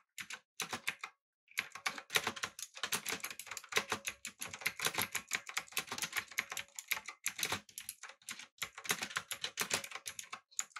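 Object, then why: Mechanical keyboard with plastic keycaps. Both hands type quickly on the round plastic keycaps of a backlit, typewriter-style mechanical keyboard with an aluminum body and blue switches. Dense bursts of sharp, bright clicks run almost nonstop, with a brief pause near the start and a few short gaps later.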